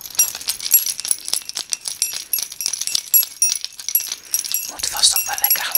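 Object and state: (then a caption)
Bunch of metal keys jingling. A small bunch of solid metal keys on a ring, held up by the ring between fingertips, is shaken and jangled close to the microphone for the new year. It makes a dense, bright, high-pitched jingle of rapid overlapping metallic clinks with almost no low end. Each clink rings only briefly.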